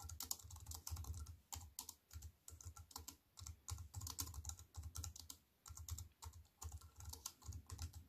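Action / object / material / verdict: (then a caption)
tap / compact keyboard with plastic keys / plastic / none. Fingertips with white-painted nails type rapidly on a slim wireless compact keyboard with black plastic keys in a grey metal-look frame, lying on a wooden table. Quick bursts of bright, crisp key clacks sit over soft low thuds, each tap dying away almost instantly. Short pauses separate the bursts.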